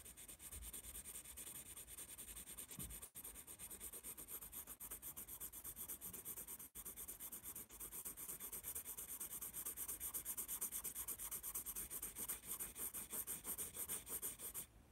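A yellow wooden pencil shades letters on a spiral-bound paper sketchpad held upright. Graphite makes a continuous scratchy rub on the paper, with a bright hiss and quick repeated strokes. The sound stays fairly steady for the whole clip.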